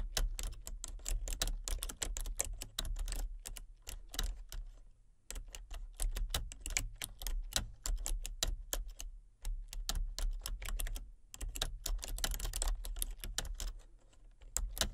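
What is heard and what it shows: Long fingernails tap and type on a full-size plastic computer keyboard with a hollow body and color-changing backlit keys. Rapid, bright, clicky keystrokes come in bursts with brief pauses, over a steady low hum.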